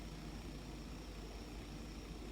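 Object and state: Nothing is struck.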